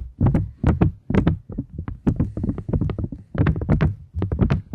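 A thin plastic polymer £20 banknote, held in both hands, is tapped and scratched with long nails. The result is a rapid, uneven series of short, dry taps and crinkly scrapes, each with a soft low thump and a bright crackle on top, fading almost at once.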